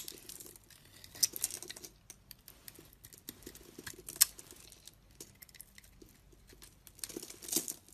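A solid dark blue soap bar, held in hand, has its surface shaved and scraped with a utility knife blade, leaving flakes around it. The sound is a quiet, bright, crinkly scraping made of short, dry ticks and rasps at an uneven pace. A few sharper, louder scrapes stand out, with a denser burst near the end.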